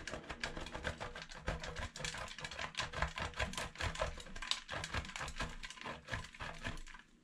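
A solid light pink/lilac bar of soap is rubbed by hand against a stainless steel box grater. Rapid, repeated scratchy grating strokes produce crisp, bright rasping bursts over a soft low rumble, and the sound fades out at the end.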